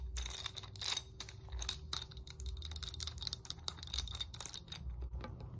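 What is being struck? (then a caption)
Hard plastic muscle roller stick. Fingernails tap and scratch quickly along the red rollers of a segmented hard plastic muscle roller stick with black foam handles. The result is a dense run of sharp, bright clicks and scratchy rasps with a faint high ring, over a low rumble underneath.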